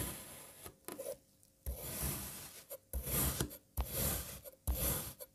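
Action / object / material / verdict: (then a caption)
scrape / kinetic sand block cut with a serrated knife / kinetic sand / none. A serrated knife slices a solid light blue kinetic sand puzzle block into strips and then cuts crosswise. Each stroke makes a soft, gritty rasping scrape with a bright, hissy edge, coming in uneven bursts separated by brief quiet pauses.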